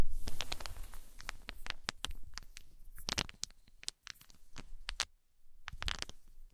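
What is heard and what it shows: A handful of small solid unfinished wooden balls, about 2–3 cm across, are scooped up by long nails and fingers, then let clack together and drop onto a fluffy blanket. The result is an irregular series of sharp, bright clicks over a soft, low muffled rustle, fading out as the balls settle.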